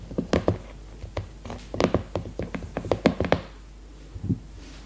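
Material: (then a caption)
Cardboard. Long red nails tap and knock on the glossy cardboard cover of a leopard-print hardcover notebook held upright in both hands. About sixteen short, dull, hollow taps come in irregular clusters, low and mid-pitched with almost no ring, over a faint steady hum.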